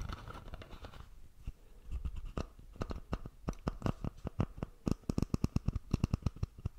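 Fingertips and nails scratch and tap the plastic screw cap of a red Prime plastic drink bottle, which appears full, held close to the microphone. A soft, rough scratching opens the clip, then gives way to a rapid run of sharp, dry clicks and taps that die away almost instantly and grow louder and quicker toward the end.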